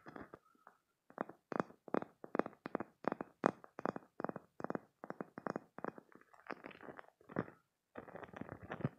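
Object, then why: Spiky silicone squeeze toy. A green, hand-sized spiky silicone toy is squeezed and its spikes are rubbed with fingertips and nails. The result is a quick run of short, squishy, crackling bursts with some brighter edges, turning into denser, continuous rubbing toward the end.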